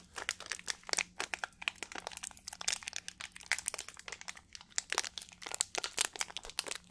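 A small, clear plastic water bottle with a blue cap, hollow and partly filled, is squeezed and crinkled by fingertips close to the microphone. It makes a rapid, irregular run of bright, dry crinkles and crackles with almost no low end and no ring after each snap. A faint steady low hum sits underneath.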